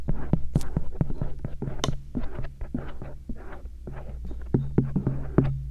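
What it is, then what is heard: Silicone ear scratched with a metal earpick. A thin stainless steel earpick scratches around the lobe and rim of the soft silicone ears of a binaural microphone. The result is a close, muffled scraping and rubbing broken by frequent soft clicks and taps, all sitting over a steady low hum. The sound is heavy in the lows and has almost no bright edge.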